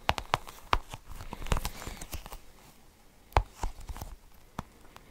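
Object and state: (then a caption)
Sticky rubber ball toy. Fingertips squeeze and peel a toy cluster of colored sticky rubbery balls, making a string of short, sticky pops and soft tacky crackles. The pops are brief, with a dull low body and bright snaps, spread irregularly over a quiet background.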